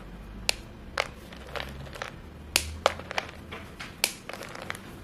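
Fingertips with painted nails break and crush short, solid white chalk sticks piled in a bowl, sending up visible chalk dust. About thirteen sharp, dry snaps and crunches ring out, bright and clicky with almost no ring, separated by softer crumbling in between.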